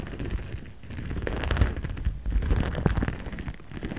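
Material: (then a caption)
Plastic. A jade face roller with a ridged stone head is rolled and rubbed across a flat, empty-looking transparent pink PVC zip pouch printed with cartoon characters, lying on a cutting mat while a hand holds it down. The result is a continuous low, crinkly rumbling scrape with dense clicky ticks and a few brighter crackles, swelling and easing as the roller moves.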